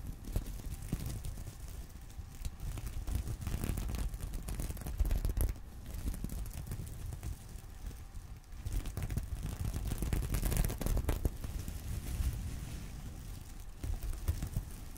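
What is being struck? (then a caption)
Sequin-covered fabric purse. Fingernails scratch and flip the plastic sequins on a small, flat, reversible sequin-covered fabric purse resting on a pillow. The result is a steady stream of soft, dry scratching and crinkling, mostly low and dull, with brief clicks that die away almost at once.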